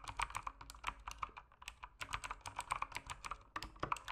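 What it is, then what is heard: Plastic mechanical keyboard. Fingertips type continuously on a backlit mechanical keyboard with plastic keycaps. It makes a quick, steady stream of short, crisp clacks with a midrange tone and bright edges. Each keystroke dies away almost instantly, at a quiet, even level.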